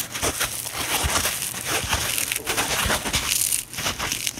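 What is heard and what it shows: A rectangular, hand-sized, porous, dry kitchen sponge with a yellow polyurethane foam body and a green abrasive scouring layer is squeezed, crushed and twisted by both hands with long painted nails over a wooden table, with other sponges lying still beside it. A steady, bright, dry crackling and crunching runs throughout, rising in quick bursts with little low-end weight and almost no ring.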